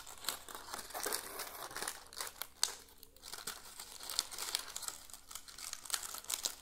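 A bunch of dry brown dead leaves is held in both hands in front of a potted plant and crumpled and crinkled with the fingers. Dense, bright, crackling crinkles come in quick irregular bursts with sharp snaps, each dying away instantly. The sound is thin, with almost no low end.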